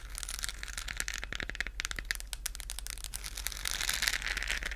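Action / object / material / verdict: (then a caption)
scrape / hollow textured plastic globe lamp / plastic / none. Long nails scratch a hollow, lit, textured plastic galaxy moon lamp, a globe held in the hands close to the mic. The result is a dense, continuous run of bright, crinkly scratching and clicking over a steady low hum, growing slightly louder and busier near the end.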